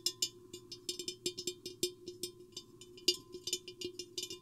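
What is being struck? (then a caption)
Glass vase. Long painted fingernails and fingertips tap the sides of a medium-sized, empty, hollow clear glass vase with a square hourglass shape, with a microphone hanging inside it. About twenty quick, bright clicks and taps come in an irregular rhythm, each dying away almost at once over a faint steady tone.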